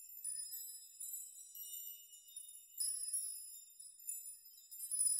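Open hands and fingertips brush through a chime of many long hanging steel nails, rocking them so they jingle against each other. The result is a quiet, bright, high shimmer of tinkling metal with no low end, swelling and fading as the nails are brushed again.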